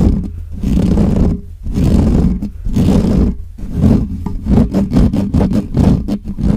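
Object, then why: Metal mesh microphone grille. Fingertips and nails of both hands scratch the top of the hollow metal mesh grille of a black Blue Yeti microphone, fast and aggressively. The result is a loud, dense, low rumbling scrape that comes in rough, roar-like surges, with short gaps and quicker strokes toward the end.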